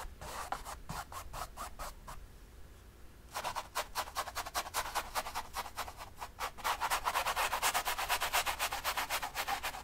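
A flat bristle brush is scrubbed in short rubbing strokes near the top edge of a large painted, stretched cotton canvas lying on a table. Quick, bright, scratchy brushing strokes repeat in a steady rhythm, stop for about a second, then resume and grow louder and denser toward the end.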